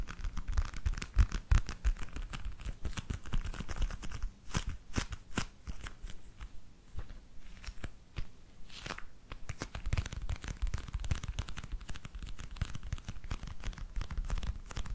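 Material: Leather.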